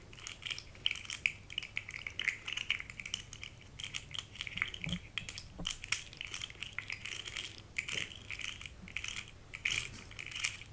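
A small rainbow-colored segmented plastic articulated fidget slug toy is held in both hands while its segments are bent and squeezed with long red nails. It makes a rapid, irregular stream of sharp, dry clicks and crunches that are bright and high-pitched, centered around 2.4 kHz, with almost no low end and no ringing after each click.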